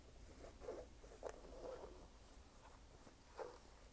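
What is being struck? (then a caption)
Canvas sneaker with rubber sole. Fingertips and nails tap and scratch the canvas upper of a red canvas low-top sneaker with a white rubber sole, held up in hand, hollow and empty. Quiet, muffled scratchy brushes and soft taps with a mid-range tone rise out of a low, steady rumble, with a few slightly louder taps standing out.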